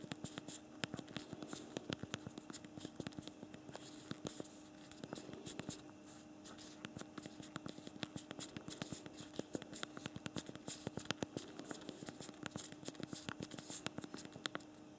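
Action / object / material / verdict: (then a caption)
tap / plastic physical phone keyboard / plastic / none. Thumbs type rapidly on the backlit physical plastic keyboard of a BlackBerry Priv smartphone. A dense, continuous stream of small, sharp clicks and taps with almost no ring runs over a faint, steady low hum in a quiet, close space.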